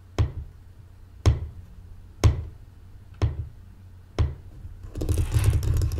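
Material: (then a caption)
Wood. Long painted fingernails and fingertips tap five times on the top of a closed, folded light-wood mancala board, about 30 cm and solid-looking, lying flat on a table beside loose glass gems that are not touched. Each tap is a short, deep, dull knock that dies away quickly. The clip ends with a stretch of continuous, brighter scratching across the board's surface.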